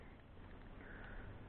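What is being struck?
Nothing is struck.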